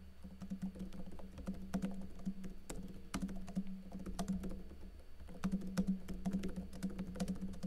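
Fingertips with blue-painted nails type densely on a plastic backlit laptop keyboard with plastic keycaps, making a quick, steady stream of short, dry clicks and taps. A steady low hum near 190 Hz runs beneath the typing throughout.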